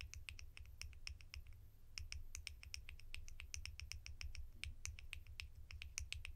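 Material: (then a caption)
Plastic. Plastic lids from a collection are tapped with the fingertips for ASMR, giving a fast, irregular run of short, bright clicks that die away almost instantly. A steady low hum sits underneath the tapping throughout.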